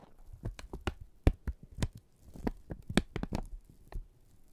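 A single flat strip of thin brown kraft paper is held taut by both hands, then pulled and crinkled with the fingertips and thumbs. The result is a series of soft, irregular crackles and taps, each with a low thump and a brief bright snap that stops almost at once.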